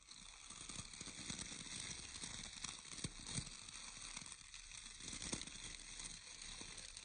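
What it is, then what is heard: Round bristle hair brush with wooden core. Fingertips and nails scratch and flick the natural bristles of a round hair brush with a wooden core. The result is a steady, bright, crackling scratch with quick flicking ticks scattered through it and a faint low rustle underneath.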